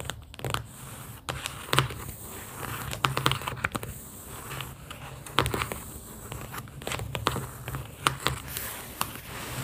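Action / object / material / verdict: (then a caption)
tap / cardboard booklet with paper sticky notes / cardboard / none. Long pink acrylic nails tap on an opened cardboard booklet of round paper sticky notes, producing a steady run of quick, dry clicks and light crinkly scratches. The taps come irregularly over a low, constant hum, with some louder, brighter strikes standing out. Each hit dies away almost instantly.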